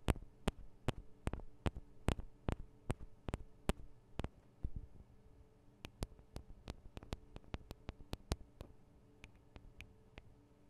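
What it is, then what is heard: Metal microphone capsules tapped with nails. Long acrylic nails tap on the two small cylindrical metal microphone capsules of a Tascam DR-40 recorder. Sharp, bright clicks land at a steady pace at first, then come quicker and lighter over a low steady hum. Each tap is dry and ends almost instantly.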